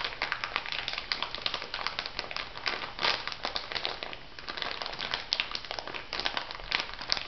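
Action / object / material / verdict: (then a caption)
scrape / plastic packet of white granules / plastic / none. An elongated clear plastic packet filled with white granules is pressed and rubbed by fingertips and nails, giving a dense, continuous crinkling with bright, crackly ticks and very little low end. The rustle stays busy throughout, easing briefly to a softer patch midway before picking back up.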